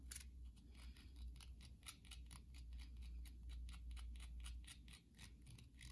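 Long glossy nails scratch and tap across the top of a hand-sized, solid white bar of soap with a scored surface. Quiet, bright, crisp clicks and scratchy strokes come in a steady, loosely regular stream over a low, constant hum.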